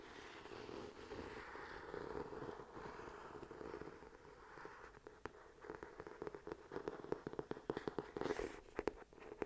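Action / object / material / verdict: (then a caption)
tap / glossy cardboard hardcover book / cardboard / none. Fingertips and nails scratch and tap the glossy, gold-patterned cardboard cover of a medium hardcover book held upright in both hands. The first half is a soft, breathy, continuous scratching. It gives way to a run of quick, dry taps with a hollow mid-range knock.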